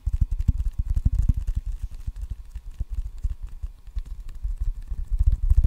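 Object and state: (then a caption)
Rubber-faced wooden table tennis paddle. Fingertips drum rapidly on the red rubber facing of a solid wooden table tennis paddle held close to the mic. A fast, uneven stream of soft, dull, low thumps with almost no ring, swelling louder at the start and again at the end.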